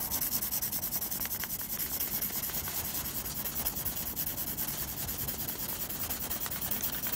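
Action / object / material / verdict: scrape / pencil graphite on textured drawing paper / paper / none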